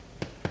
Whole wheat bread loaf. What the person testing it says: it sounds hollow. That's how you know it's done.